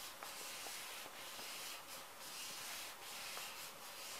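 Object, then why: Plastic-film wet wipes pouch. Fingertips rub and scratch across the printed plastic film of a small, full wet wipes pouch. A quiet, steady, bright crinkling hiss runs throughout, with faint scattered crackles and little low end.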